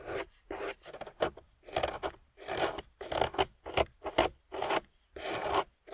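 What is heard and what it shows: A metal loop tool on a wooden handle carves a solid, water-soaked grey clay slab resting on a table. It makes a series of short, gritty rasping scrapes, each stroke separated by brief silence. The scrapes have a midrange body and a bright, hissy edge.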